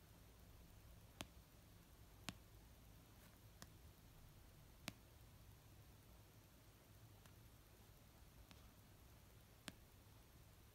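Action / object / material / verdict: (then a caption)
tap / paperback book, paper / paper / none. Fingernails and fingertips tap slowly on an orange paperback novel of solid paper resting on a blanket. Seven sparse, short, dry clicks stand out, each dying away almost instantly, over a quiet low rumbling background.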